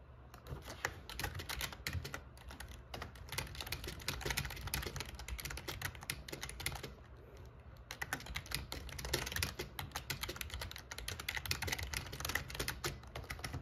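Fingertips type steadily on the black plastic keycaps of an RGB plastic membrane gaming keyboard with a metal plate, producing rapid, bright clicking and clacking keystrokes. The typing pauses briefly around the middle before resuming, over a steady low hum.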